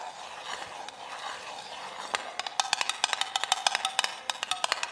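Long acrylic nails tap on a small clear glass mason jar with a metal screw lid, held and turned close to the mic, with crinkly silver foil-like contents inside. For the first two seconds there is a soft, bright crinkling rustle. Then comes a quick, uneven run of sharp, short clicking taps with a glassy ring around 800 Hz, possibly with an added echo effect.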